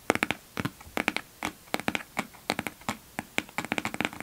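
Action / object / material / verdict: tap / sealed cardboard box / cardboard / none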